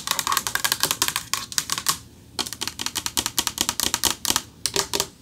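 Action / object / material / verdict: tap / metal plaque / metal / none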